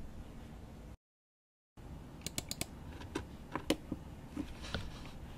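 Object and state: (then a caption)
Mechanical keyboard with plastic keycaps and aluminium case. Both hands type with their fingertips on a GMMK Pro 75% mechanical keyboard with an aluminum case, plastic keycaps and linear switches. After a brief silent gap, about ten sharp, bright clacks ring out over a steady low background hiss, each dying away almost at once.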